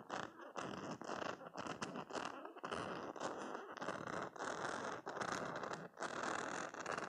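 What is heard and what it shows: A hand-sized, soft green silicone spiky cube stress toy is held in one hand while fingernails of the other flick and scratch along its rows of spikes. The result is dense bursts of crackly, scratchy rasping, concentrated in the mids with bright edges. The bursts are separated by brief pauses.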